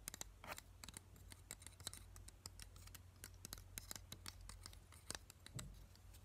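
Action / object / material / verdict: flick / plastic hair claw clip / plastic / none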